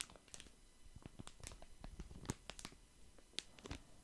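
Fingertips crinkle and rub a small, lemon-print, crinkly plastic wet wipes packet held in both hands close to the mic. The result is a quiet, steady stream of sharp, dry crackles and clicks, with a few brighter, louder snaps standing out.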